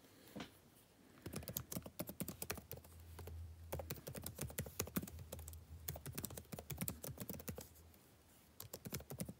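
Fingertips tap out quick, uneven bursts of typing on a backlit laptop keyboard with plastic keys, each keystroke a short, dry click with almost no ring. The typing starts after a brief quiet opening, runs steadily with a faint low hum beneath it through the middle, pauses briefly near the end, and then resumes.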